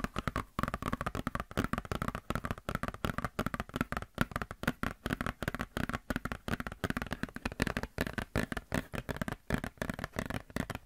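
Long nails scratch and flex a glossy paper Blizzard Shop catalog booklet, making a rapid, steady stream of short crinkly scratches and crackles. The bursts are dry with almost no ring, and the sound has a soft low thump under it with little high brightness.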